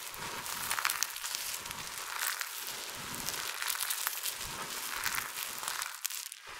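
Fingers with long nails rake through and press into a large heap of small multicolored dry soap shavings. A steady, bright crackling crunch of crushing and scratching flakes runs throughout with little low end.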